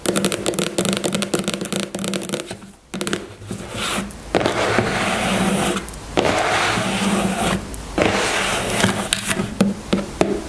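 Long nails tap the sides of a white plastic styling gel tube standing on its cap, giving quick, crisp, hollow clicks. After a brief quiet dip, the sound turns into a denser, hissy scraping texture broken by short pauses and scattered sharp taps.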